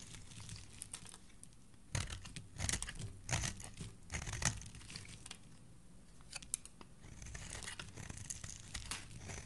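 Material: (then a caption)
Soap. A solid green oval bar of soap, held in a hand with dark nails, is scraped and shaved with a utility blade, curling off green shavings. Bursts of dry, crisp scraping and crinkly tearing come in clusters, loudest between about 2 and 4.5 seconds. Each burst is a quick, bright scrape that stops sharply over a faint low hum.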